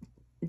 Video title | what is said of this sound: Victorian & Vintage Costume Jewelry Brooches, Rhinestones Hair clips, Necklaces & More! | it sounds plastic but it almost reminds me of like paper molding